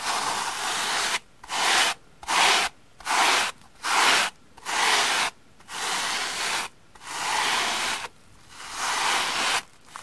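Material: Cellulose.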